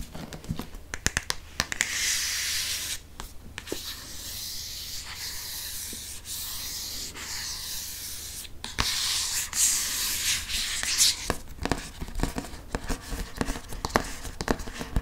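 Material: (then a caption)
Cardboard, paper. Fingernails scratch and rub across the cover and spine of a green hardcover Harry Potter paper book. The sound is a bright, dry scraping and rubbing, with long steady strokes broken up by quick sharp clicks and taps. The scratching grows busier and louder in the second half.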